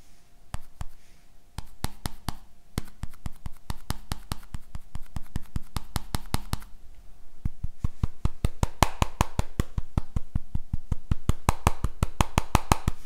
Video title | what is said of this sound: Xiaomi Mi Mix 3 Review: Comeback of the Slider Phone (English) | tapping on the screen results in a rattling noise